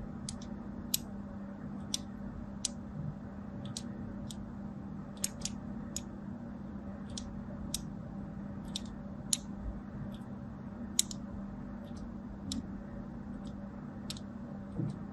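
A craft blade scores crosshatch lines into the surface of a solid white and teal striped bar of soap held in hand, leaving flakes on a green mat. Short, crisp, bright scratching clicks come one after another, each dying away almost instantly over a quiet, steady low hum.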